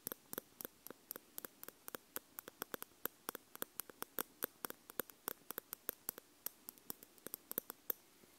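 Two metal tweezers, one held in each hand by fingers with purple nails, tap and scrape on the two round metal capsule housings with red rings of a Tascam X-Y field recorder, whose small, hollow metal capsules sit on a plastic body. Dozens of quiet, sharp, bright metal-on-metal clicks come in a steady, uneven patter. Each click stops almost instantly over a faint hiss.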